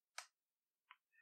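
A metal Takumar lens focusing ring, on a Pentax SL camera, is turned to the end of its travel and stops with a clean, bright clink, followed by a second, shorter clink and a faint tonal ring. The crisp, solid, non-hollow sound reflects the lens's heavy, precise build.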